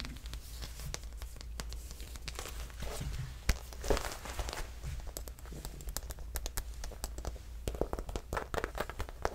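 Long manicured nails scratch and tap the textured surface of a medium red embossed leather handbag near its metal buckle straps; the bag is hollow and apparently empty. Dense, crackly scratching and quick dry taps run throughout, with a couple of sharper louder taps near the middle, over a steady low hum.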